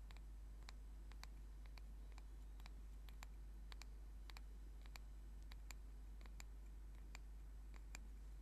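Short fingernails tap and scratch a small solid turned wooden singing bowl mallet held in the hands, making quiet, sharp, bright ticks scattered at an irregular pace. A steady low hum sits underneath throughout.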